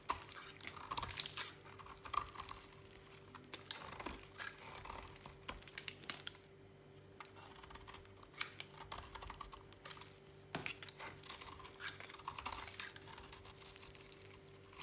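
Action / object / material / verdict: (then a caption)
scrape / bar soap cut with a blade / soap / none. A utility knife blade cuts and scrapes a solid white bar of dry soap into chunks and curls. Crisp, bright scraping and crackling cuts come in quick irregular bursts of short, dry clicks that die away almost instantly, over a faint steady low hum.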